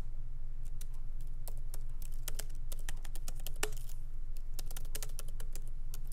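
Both hands type continuously with their fingertips on a MacBook Pro keyboard with low-profile plastic keys in a solid aluminum body. Quick, bright clicks tap out at an uneven pace over a steady low hum.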